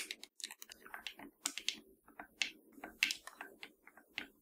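Long nails tap and scratch the buttons and sticks of a hollow black plastic PS4 controller. The result is a quick, irregular run of bright, dry clicks and short scratchy rasps, each dying away almost at once, over a faint low hollow knock.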